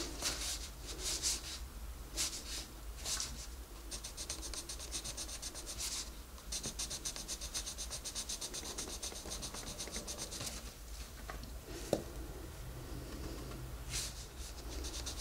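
A wooden colored pencil colors a page of an open paper coloring book lying flat on a desk, while the other hand rests on the page. Bright, scratchy strokes come in quick bursts and longer runs over a steady low hum, with one short sharp tick near the end.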